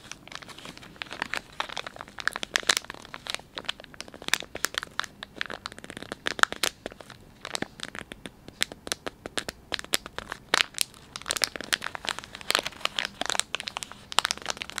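Thumbs squeeze and crinkle the soft plastic film of a filled, palm-sized Dettol wet wipes pouch. Dense, irregular bursts of sharp, bright crackling and crinkling come in quick clusters with almost no low end. Each snap dies away instantly.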